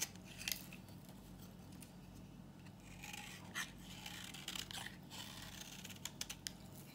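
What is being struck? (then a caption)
Bar of soap shaved with a knife. A solid, dry, old green bar of soap is held in the hand and scraped and shaved with a knife, peeling off layered crumbly curls. Quiet, bright, crisp scraping strokes rasp across the surface, with a few sharper clicks standing out over a steady low hum.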